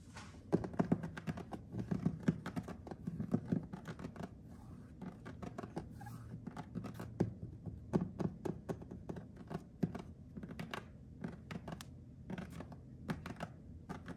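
Fingernails scratch and tap across white glossy ceramic subway tiles with grout lines on a solid, wall-mounted kitchen backsplash. The result is a steady run of quick, dry clicks and short scraping strokes, each ending almost at once with no ringing. The sound stays low and muffled overall.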